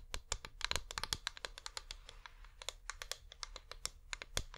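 A flameless wax pillar candle is held in both hands and rapidly tapped with long nails. The result is a quick, uneven run of dry, bright clicks that stop almost instantly, with a faint low thud under each tap.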